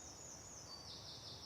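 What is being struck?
Nothing is struck.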